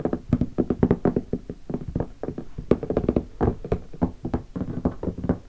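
Fingertips of both hands tap rapidly across the lid of a closed, hollow black leatherette hardshell guitar case with stickers and gold latches, lying on carpet. The taps are dull, hollow knocks with a low-mid body and almost no ring, falling in quick, uneven bursts.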